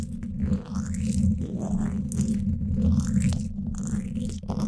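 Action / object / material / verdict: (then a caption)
scrape / woven steel mesh microphone grille scratched with thin wooden sticks / steel mesh / none. Thin wooden sticks held close to the hollow dome grille of a Blue Yeti microphone scratch along the sides of its woven steel mesh. The result is a steady, low, rumbling scrape, heavy in the bass with a faint raspy texture on top, that swells and dips in short strokes with no clear breaks.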